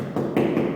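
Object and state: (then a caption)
Hollow plasterboard partition wall. Two taps on a room-dividing partition wall made of double plasterboard with a honeycomb core give dull, hollow knocks centred in the low mids around 350 Hz. The wall sounds hollow, which is normal for this kind of partition.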